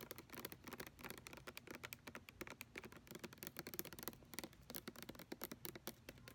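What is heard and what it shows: Fingernails tap and scratch quickly on the back label and bottom edge of a large white plastic lotion pump bottle that appears full. The sound is a rapid stream of short, dry clicks and scrapes with bright, crisp tops and almost no ring after each hit.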